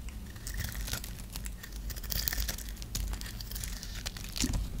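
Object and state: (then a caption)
Dry bar soap being scraped. A dry, solid white bar of soap held in the hand is shaved and scraped with a metal knife blade. The result is a continuous run of crisp, crumbly scraping and tearing sounds, with bright flaky crackles over a low rumble.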